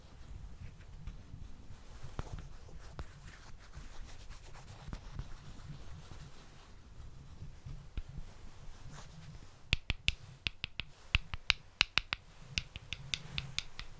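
Wooden balls are tapped and rubbed while moved from the back to the front of a microphone in stereo, giving soft rubbing with faint scattered clicks at first. In the last few seconds, sharper, bright, dry clicks with almost no ring stand out clearly.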